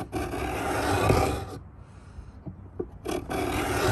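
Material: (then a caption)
Pine wood. A steel Stanley 66 beading plane scrapes the lid edge of a hollow pine wooden box in repeated two-handed strokes, cutting grooves into the wood. Long, dry rasping strokes with a low hollow body are heard, broken by a quieter pause with a few soft ticks before the scraping resumes.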